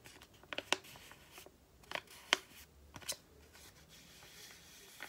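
A small, flat white and green printed paper sachet, held in both hands, is tapped and handled with long painted nails. Seven sharp, bright clicks come in irregular bursts over a faint, steady hiss. Each tap is crisp and dry, dying away almost at once.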